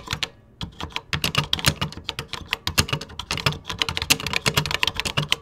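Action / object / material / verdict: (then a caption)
tap / plastic computer keyboard keys / plastic / none. Fingertips type on a 1980s vintage computer keyboard with cream plastic keycaps. After a brief pause near the start, a fast, steady run of sharp, bright plastic key clicks follows, each decaying almost instantly, with a light low thump under the strokes.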